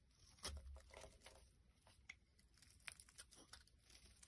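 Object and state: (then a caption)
Bar soap being shaved. A black blade scrapes and carves shavings off a solid white rectangular bar of soap held in the hand. Quiet, dry crackling and crisp scraping bursts come in a loose irregular series, with bright, short-lived edges and a low rumble underneath.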